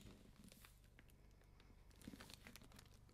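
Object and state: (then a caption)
Hardcover book in plastic jacket. Long manicured nails and fingertips tap and rub across the front of a medium-sized solid hardcover library book, "Conflict and Crisis," in a clear plastic dust-jacket protector, held upright on a wooden desk. Soft, quick crinkling and clicking rise from a low, steady rumble, growing a little louder as the book is tilted toward the end.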